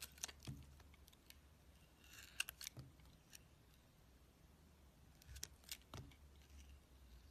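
A steel utility-knife blade shaves thin curls from the surface of a solid, palm-sized oval bar of soap, green on the outside with a black core, held in the hand. Quiet, bright scraping crackles come in short, irregular bursts, with brief pauses between strokes over a low steady hum.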